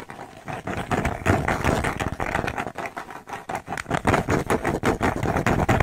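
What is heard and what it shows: Long nails tap and scratch quickly on a thin, flat, square cork coaster with a red dot, held in the hands, moving from near to far. The result is a dense, uneven stream of dry, muffled clicks and rough scraping, with bursts that rise and fall in loudness.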